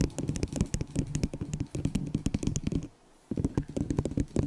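A small, hollow, empty white plastic disposable cup held over the microphone is tapped and scratched with long nails. Rapid, dense, dull clicks and taps with a low hollow boom and brief scratchy noise fill the clip, broken by a short near-silent pause before the tapping resumes.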